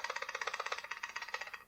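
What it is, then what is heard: Loose shotgun barrels (off face). A used steel side-by-side shotgun with its forearm removed is shaken by the barrels, producing a rapid, dry metallic rattle of sharp clicks over under two seconds. The rattle comes from a gap between the barrels and the face of the receiver, a condition called "off face," meaning the gun needs some work.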